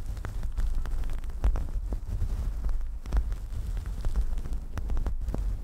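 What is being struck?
Synthetic fur microphone windscreen.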